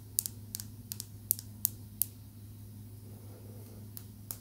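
A small, smooth, solid green calcite tumbled stone is tapped with long nails, giving ten sharp, bright clicks that stop almost instantly. The taps come in an irregular cluster, then a long pause, then two more near the end, all over a steady low hum.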